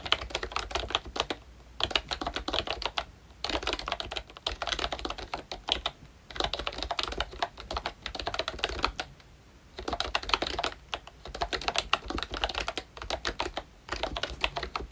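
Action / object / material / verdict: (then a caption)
tap / plastic membrane keyboard / plastic / none. A full-size ROYCHE Disney Mickey Mouse retro membrane keyboard with round plastic keycaps is typed on continuously with the fingertips of both hands. It gives a dense, bright stream of soft plastic clicks and taps in bursts broken by brief pauses. Each keystroke is short and dry with almost no ring.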